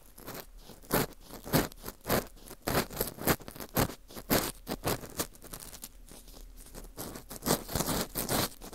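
An orange plastic earpick scrapes inside the hole of a small hollow ring of dry, porous baked wheat gluten (fu) held in a gloved hand. Irregular dry, crunchy scraping strokes come in quick bursts, each a bright, broadband rasp that stops almost at once. Short quieter gaps fall between the strokes.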